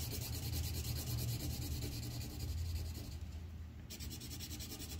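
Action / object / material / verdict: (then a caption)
scrape / wooden colored pencil on a paper sheet over a clipboard / paper / none. A red wooden colored pencil rubs quick, repeated strokes across a thin white paper sheet on a clipboard, filling in the pot area of a coloring page. The result is a steady, scratchy rubbing with a low, dull body and a bright papery hiss that briefly fades just past the midpoint before the strokes pick up again.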